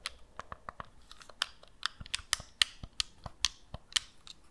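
A black and red hollow plastic gamepad, hand-sized and held in both hands, is tapped and scratched on its shell by long nails that also press its buttons. Dry, bright clicks and taps come in an irregular series with faint scratching between them, and each one dies away almost instantly.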